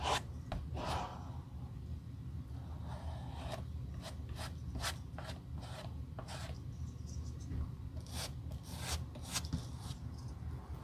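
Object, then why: Leather shoe sole. The leather outsole and heel of a Gucci suede loafer, solid layered leather held in hand, is scrubbed with a stiff wire or bristle brush during restoration. Repeated short, bright, raspy scratching strokes sweep across the sole. A steady low rumble sits underneath them.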